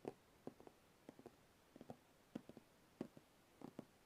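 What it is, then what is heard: Cardboard box. Fingertips tap and lightly scratch along the top of the closed lid of a large, white, glossy cardboard box that is hollow inside. Soft, dull, hollow taps come in small quick clusters of two or three. Each tap dies almost instantly against a quiet, still background.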